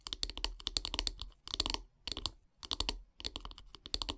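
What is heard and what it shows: Long painted nails tap rapidly along the solid wooden handle of a bristle brush resting on a wood-slice mat. The quick, dry, bright clicks come in bursts separated by short pauses, with each tap dying away almost at once.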